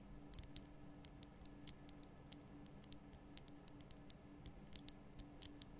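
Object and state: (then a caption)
Himalayan salt lamp. Long nails tap the lower sides of a large, lit pink Himalayan rock-salt lamp, a solid rough crystal block. A quiet, irregular run of sharp, bright clicks, each dying away almost instantly, sits over a faint steady low hum.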